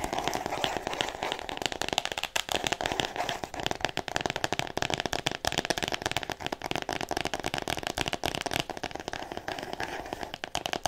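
A solid, roughly A4-size "All About Me" hardcover book, still in its clear plastic shrink wrap, is tapped and scratched fast with long painted nails. The result is a steady stream of dense, crisp, crackling taps with a bright crinkly plastic edge throughout.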